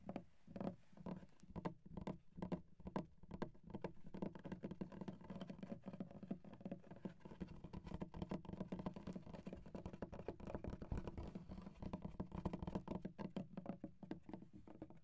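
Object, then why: Wooden desk. Fingertips and short nails of both hands tap a flat, solid, light wooden desk with visible grain. The result is a quiet, rapid, continuous patter of short, dull woody taps with a low thud and almost no ring.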